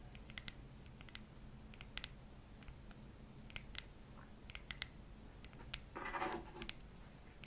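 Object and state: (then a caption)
Bamboo jar lid. A palm-sized, solid, round light bamboo jar lid is tapped and scratched with long acrylic nails. Sharp, bright clicks scatter across the clip over a low steady hum, with a brief louder scratching rush near the end.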